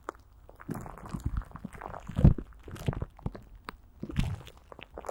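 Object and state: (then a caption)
Plastic wrap with Vaseline squeezed over a microphone. A greasy hand grips and squeezes clear plastic film stretched over a hollow microphone grille and coated with Vaseline. Dense, low, crunchy crinkling and sticky squelches pulse continuously, with brief bright crackles on top and the loudest squeezes near the middle and toward the end.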